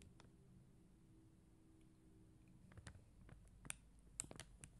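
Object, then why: Acrylic plastic gem stickers on paper backing. Long teal acrylic nails tap and click on a flat sheet of clear and blue faceted acrylic rhinestone gem stickers on white paper backing. A quiet low hum gives way to sharp, bright, dry clicks with almost no ring, with the loudest snaps coming near the end.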